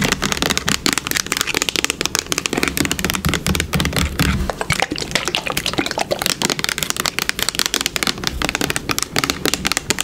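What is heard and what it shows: Long pink nails rapidly tap a yellow plastic bottle held sideways. The result is a continuous stream of sharp, bright clicks over a soft low rumble.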